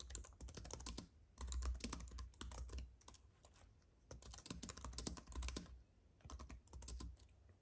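Both hands type with their fingertips on a slim white computer keyboard with plastic keys on a silver aluminum base, an unused paintbrush lying nearby. Bursts of quick, bright plastic key clicks come with soft low thumps, broken by short quiet pauses between runs of typing.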